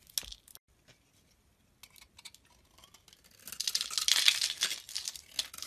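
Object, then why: Bar of olive-oil soap. A blade scrapes and shaves flakes off a solid, hand-held green stamped olive-oil soap bar. Sparse, quiet scratchy ticks give way after about three seconds to a denser, louder run of bright, crisp shaving and crackling that peaks near the four-second mark.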